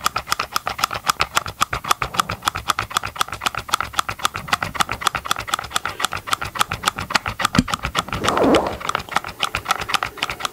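Gloved fingertips tap quickly on the hollow green plastic engine cover of a chainsaw, held close to the mic. A fast, slightly uneven run of short, dry plastic clicks with little ring carries on throughout, with a brief rougher scraping swell near the end.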